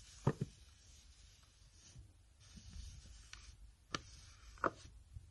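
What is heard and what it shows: Fingernails and fingertips tap and scratch a printed Escoda paper envelope or bag holding items, held in the hands, crinkling the paper. Four sharp, quiet taps stand out against soft scratching and rustling, with a brief bright edge over a low body.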